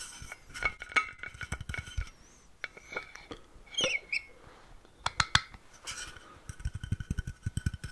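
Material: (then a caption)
Stainless steel. A tall, hollow, blue-painted stainless steel water bottle, about 50 cm with a screw cap, is held close and tapped on its cap and body with fingertips and nails. The result is a run of quick, bright metallic clinks and dull low thumps that die away almost at once, with a short squeaky scrape partway through. It ends in a dense flurry of soft, rapid taps.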